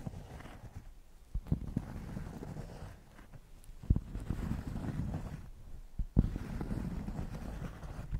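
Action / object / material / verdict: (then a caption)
scrape / thick cork square scratched with fingernails / cork / none. Long painted nails scratch a thick, solid cork square held close to the microphones. The result is a deep, muffled, bassy rasping that swells and fades in uneven strokes, with almost no high content. A few sharper knocks stand out above the scratching.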